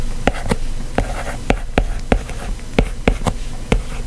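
A white plastic stylus tip scratches and taps across the solid glass screen of a white iPad lying flat, writing continuous handwritten text. Ten short, sharp taps stand out over a steady low rumble and soft scratching, each tap dying away almost at once.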